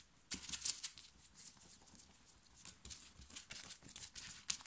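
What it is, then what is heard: Cotton t-shirt being scratched. Long fingernails rapidly scratch and gather a black cotton printed "STAY TRUE" t-shirt worn on the chest. The result is a string of quick, dry, bright scratching rasps and fabric rustles over near-silence, loudest in the opening second and in another burst near the end.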